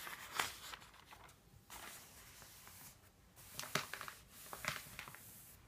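Fingertips turn the thin pages of an open paper phone book resting on a wooden table, and a palm sweeps them flat. Quiet, bright rustles and crinkles come with a few sharper papery flicks, separated by soft brushing sweeps.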